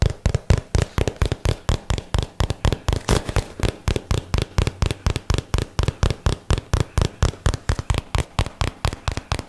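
Fingertips tap rapidly on a small, hollow, closed rectangular cardboard box printed in white and teal, held in both hands close to the microphone. About 44 short, dull, hollow thumps land in a quick, uneven rhythm, each deep and low with almost no ring, stopping dead after every tap.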